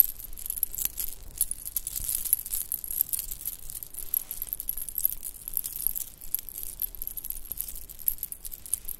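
A shell-chip bracelet with white beads and silver spacers is handled with both hands, as nails and fingertips shake and jingle the pieces. The result is a quiet, continuous patter of short, bright clicks and light clinks that overlap with no settled rhythm.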